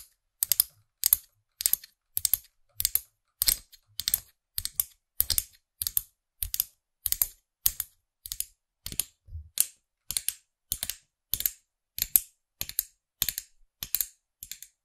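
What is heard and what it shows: Long nails tap the top of a small hard plastic character head on a clear and black plastic stem, a figurine-topped pen toy held upright. About two dozen evenly spaced bursts of quick clicks sound across the clip, each a dry, bright flurry of a few taps that stops almost instantly with little low end.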